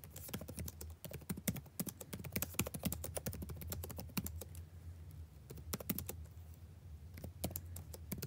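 Fingertips tap on the plastic keys of a backlit laptop keyboard, the same keyboard throughout, in quick bursts of sharp, dry clicks that stop almost instantly. A steady low hum runs underneath the whole time. The typing thins out into short pauses near the middle and again later before picking back up.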